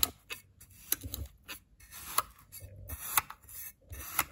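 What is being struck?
Kinetic sand in a glass bowl.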